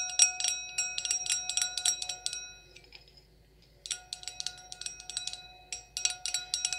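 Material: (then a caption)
Glass. An empty, clear stemmed wine glass with a thin, hollow bowl is tapped rapidly with long acrylic nails. The taps come as sharp, bright clicks over a sustained, high, bell-like ring, in two busy bursts separated by a brief quiet stretch where only a faint tone lingers.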